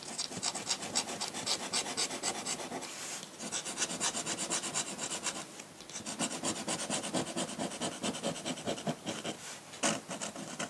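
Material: Paper.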